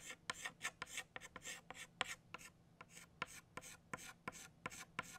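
An orange chalk stick traces over petal outlines on a flat black chalkboard with steady, repeated scraping strokes. Each stroke is a short, bright, raspy scratch with quick onsets and almost no ring. The strokes come in a quick, uneven rhythm at a low level.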